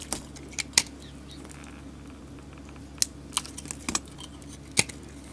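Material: Soap.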